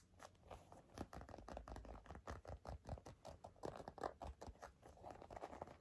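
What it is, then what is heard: Leather wallet, scratched and tapped. Long nails scratch and tap on a black leather wallet in a quick, irregular run of soft, dull scrapes and taps. The sound is low and muffled, with no ring after each touch.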